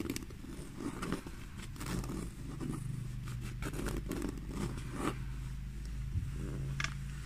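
Long fingernails scratch the black pebbled leather surface of a small handbag, making a run of soft, dry rasping scrapes in short, uneven bursts. A steady low hum sits underneath throughout the quiet clip.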